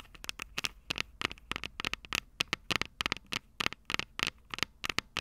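Long purple nails tap rapidly on the small, hollow, silver metal microphone capsules of a Tascam DR-05 recorder. The result is a fast, irregular run of crisp, bright clicks with a metallic tick around 2 kHz. Each tap dies away almost instantly, with very little low end.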